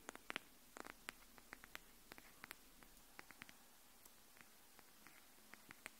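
Long nails tap the edge of a pink hardcover paper notebook held edge-up, making 22 quiet, sharp clicks with a bright, papery tone. The taps come at uneven intervals, each dying away almost instantly over a faint steady hiss.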